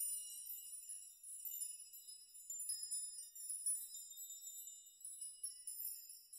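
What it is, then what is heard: Steel nail chime. Fingers brush and rock the many long hanging steel nails of a steel nail chime, setting them jingling against each other. The result is a quiet, continuous shimmer of high, bright, bell-like tones with overlapping sustained partials and small rises in loudness as the nails are stirred, with no low end at all.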